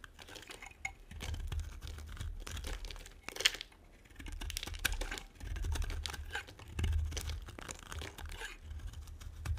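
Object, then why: Bar of soap scraped by a metal blade. A metal blade carves and scrapes shavings off a solid, dry pink and white bar of soap. Crisp, dry scraping and crackling sounds with bright edges come in uneven bursts over a low rumble that swells and fades between strokes.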